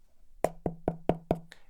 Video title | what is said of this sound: So, What Is That Box? | you can probably hear it's hollow